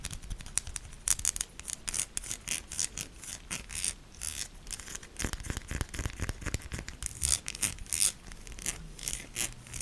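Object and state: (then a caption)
Soap bar scratched with nails. A solid pink soap bar with ribbed sides is held in hand and scratched with long nails. The result is a dense stream of quick, bright scratching and scraping strokes with soft low thuds underneath. The strokes cluster into uneven bursts across the clip.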